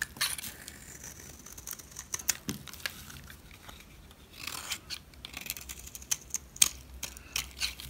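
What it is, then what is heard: Dry soap bar being scraped. A knife scrapes and shaves the face of a solid, dry, yellow rectangular soap bar. The sound is a quiet, bright, crisp scraping with bursts of sharp crackling ticks and almost no low end. A louder stretch of shaving comes through in the middle.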